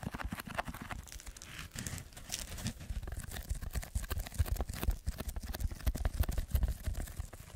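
Fingertips and short nails scratch and tap the surface of a soft, lightweight, rectangular red textured packing foam block held in both hands close to the microphone. The result is a dense run of quick, dull scratches and soft taps with a crinkly, tearing texture, weighted heavily toward low thumps, with brief bright scrapes and no ringing tail.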